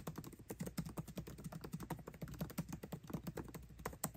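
Fingertips type fast on a MacBook Pro keyboard with plastic keycaps set in an aluminum body. The result is a quick, steady stream of soft, muted key clicks with a low, dull thump and very little ring.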